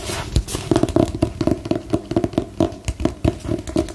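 A solid book with a glossy paper cover, held upright, is tapped with long nails. The result is a steady run of short, dull clicks with a slight hollow tone, each dying away almost at once.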